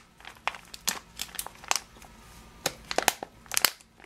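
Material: Plastic.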